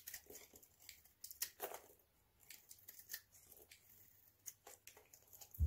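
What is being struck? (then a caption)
Bar of soap shaved with a blade. A hand-held, hand-sized solid bar of dry white soap with remnants of blue polish is shaved with a utility knife blade into crunchy flakes. A quiet, irregular series of short, crisp, bright scraping crunches plays over a low steady hum. The clip ends with a louder low thump.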